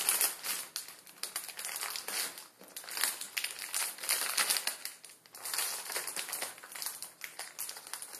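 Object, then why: Plastic film noodle packet. A plastic film ramen packet with noodles inside, resting on a wooden table, is pressed and crinkled with the fingertips. Dense, bright crinkling and crackling runs almost continuously for about eight seconds, with no low end and brief quieter dips along the way.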